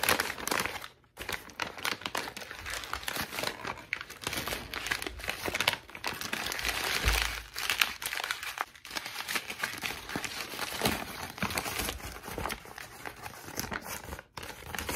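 A thin, wrinkled white lined notebook sheet with a perforated torn edge is crumpled, folded and opened out again by hand, using fingertips with long pink nails. The sound is a dense, bright, steady crinkling made of many small, sharp crackles, with brief quiet gaps near the first second and near the end.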